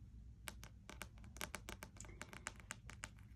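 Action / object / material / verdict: tap / card-covered spiral-bound puzzle book / card / none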